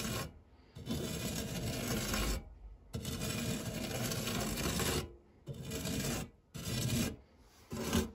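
A hand-held silicone spatula sweeps and scrapes across the textured bottom of a dark non-stick metal tart tin. It makes a steady, raspy rubbing sound with bright hiss, in long strokes separated by short pauses.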